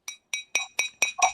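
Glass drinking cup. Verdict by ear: Real.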